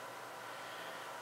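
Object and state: Nothing is struck.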